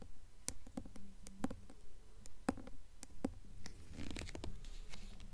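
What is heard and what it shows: Long fingernails tap and scratch the front of a paper dust jacket on a blue hardcover book held up in both hands. Quiet, sharp clicking taps come in an uneven stream over a soft, low thump. A brief scratchy rustle follows near the end.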